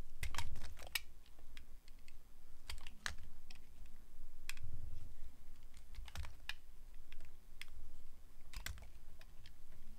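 A metal blade carves a solid translucent glycerin soap bar, producing a rapid series of short, crisp, bright clicks and scrapes that sound much like typing on a keyboard. Each cut ends almost instantly, over a soft, steady low hum.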